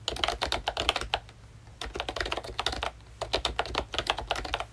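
Fingertips of both hands type on a full-size pink ROYCHE Disney Mickey Mouse retro keyboard, a plastic-cased membrane keyboard with round dark green plastic keycaps. Quick bursts of short, bright plastic clicks come in rapid runs, separated by brief pauses around 1.2–1.8 s and 3.0–3.2 s. A faint low hum sits underneath.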